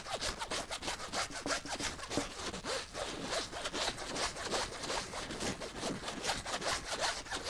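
Long nails scratch the fabric surface of a flat teal zippered pouch, first lying on a table and then held up. The result is a steady run of dry, bright rasping strokes in quick rhythmic succession, with a hissy high end and little low rumble.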